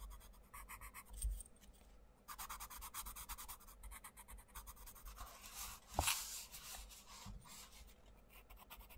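A wooden coloured pencil scratches and rubs across the paper page of an open paperback colouring book on a table while colouring butterflies. Quick bursts of bright, dry scratching strokes come and go over a faint low rumble. There is a brief sharper knock about two-thirds of the way through.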